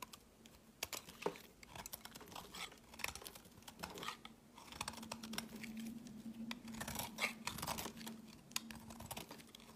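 A steel blade shaves a white bar of soap, carved down to a thin piece and held in the fingers. It makes quick, dry, bright scraping and crisp flaking ticks in rapid irregular bursts, each dying away almost at once. A faint low steady hum runs underneath, strongest through the second half.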